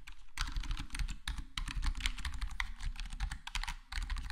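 Fingertips of both hands type rapidly on a full-size black plastic HyperX Alloy Core gaming keyboard with square plastic keycaps and a foam-modded, foam-dampened case. The result is a dense, steady stream of short, muffled thocking key taps, weighted low with a bright clicky edge and almost no ring, pausing briefly just before the end.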